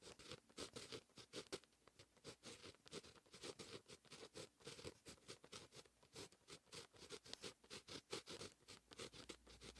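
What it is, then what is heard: Pen writing on paper. A fine pen with a grey grip writes line after line of handwriting on a lined white page in a paper notebook. Its tip scratches the paper in quick, continuous strokes, producing a steady run of short, bright scratchy bursts with little low end.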